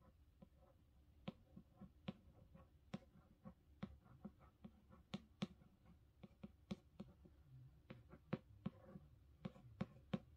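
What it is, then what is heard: Hardcover book. Long pink-painted fingernails trace and tap across the glossy paper dust jacket of a large, solid illustrated hardcover of A Game of Thrones lying flat on a carpet. Quiet, sharp, dry nail clicks and taps come at an irregular pace over a soft scratching rustle, each tap dying away almost instantly.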